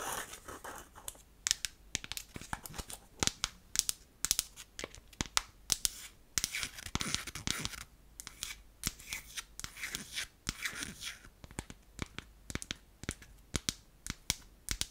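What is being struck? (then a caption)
Small unfinished wooden jar with lid. Long acrylic nails tap and scratch the top and sides of a small, round, hollow, unfinished light wooden blush jar with a lid. Sharp, dry clicks ring out over a bright, hissing scratch that swells and fades, with each tap dying away almost at once.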